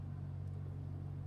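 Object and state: Nothing is struck.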